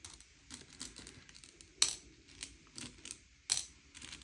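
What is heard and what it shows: Fingertips slide and push a pile of small, hard, sugar-shelled M&M's candy-coated chocolates around a grey plate, sorting them by colour. Soft, bright clicking and rattling runs throughout, with two sharper, louder clacks standing out as candies knock together.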